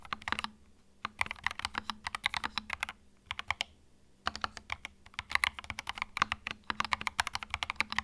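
Fingertips type on a small white 65% mechanical keyboard with plastic keycaps and a hollow plastic case, resting on a felt mat. Bursts of quick, bright, short clicks fill the clip, with a couple of brief pauses and a faint low hum underneath.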